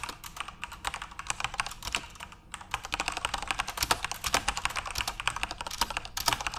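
Both hands type on a backlit plastic Corsair mechanical RGB keyboard, with fingertips tapping the keys in a fast, steady stream. Each keystroke is a short, bright click that dies away almost at once, with little low end and a brief pause before the typing picks up again.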